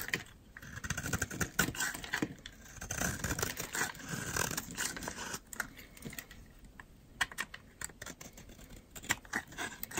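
A metal utility knife blade scrapes along the edge of a solid green oval bar of dry soap held in hand, shaving off dry curls. Heard are rapid, dry, crackly scraping strokes, bright and brittle with many short clicks and a faint low rumble beneath.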